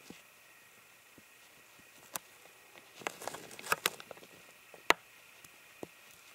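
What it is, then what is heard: Plastic water bottle. A clear, ribbed, hollow and empty plastic water bottle is tapped and scratched with fingernails, giving quiet, irregular, sharp clicks and brief bright scratchy rustles over a faint steady hiss. The sounds cluster in the middle of the clip, with a loud crisp tap near the end.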